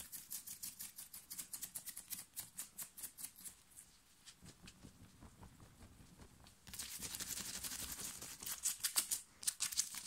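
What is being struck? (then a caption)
Cotton t-shirt fabric. Long fingernails scratch fast and hard across a black cotton printed "STAY TRUE" t-shirt worn on the chest, gathering and bunching the fabric. Quick, bright, scratchy strokes come in a rapid uneven rhythm, soften for a few seconds midway, then swell into a denser, rougher rustle with sharp crisp bursts toward the end.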